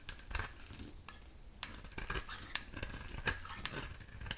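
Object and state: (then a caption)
Dry bar soap being shaved. A dry oval soap bar with a pink core and black rim is held in the hand and shaved with a metal utility knife blade, sending off pink flakes. Quick, crisp scrapes and dry clicks crackle over a low rumble, each bright and short with almost no ring.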